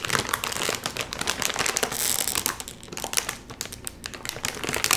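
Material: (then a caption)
Plastic film. Both hands pull hard at the top seam of a full Doritos chip bag made of metallized plastic film, crinkling the bag. Dense, bright crackling and crinkling fill the clip with rapid uneven bursts, a brief hissy stretch near the middle, and little low-end weight.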